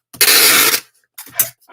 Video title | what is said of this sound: Lets chat while I ship items from my weekend eBay sales | The most important part is to always do a shake test. There is absolutely no movement in that package.